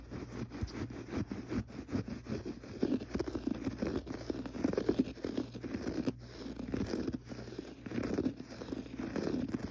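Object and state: Textured pile carpet.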